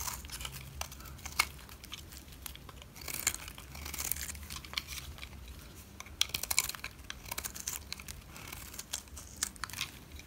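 A white utility knife scrapes the face of a solid black rectangular bar of dry soap, making a steady run of dry, crisp scratching and crumbly crackling. Brief bright ticks and louder scraping bursts stand out around 1.5, 3–4 and 6–7 seconds, with a faint low hum underneath.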